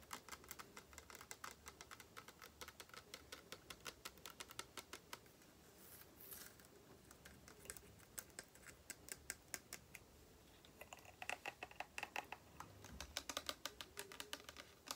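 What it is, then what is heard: Glass spray bottle. Long painted fingernails rapidly tap along the sides of a tall, clear, cylindrical glass spray bottle with an orange label and a thick base, held in the hands and partly filled with clear liquid. The quiet, bright, clicky taps die away almost instantly and come in dense bursts, thinning out briefly before picking up again.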